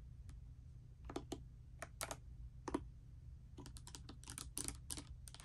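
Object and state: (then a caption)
Mechanical keyboard with plastic keycaps. Typing with fingertips and long nails on a pastel mechanical keyboard with plastic keycaps resting on a bedspread produces a run of short, bright clicks and clacks. Scattered taps at first give way to a denser burst near the end, over a steady low hum.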